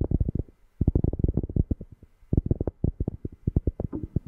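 A cork object is tapped close to a microphone, producing deep, bassy thumps in quick bursts separated by short pauses. The taps are dull and short, with almost no ringing and nearly all of their energy in the low end.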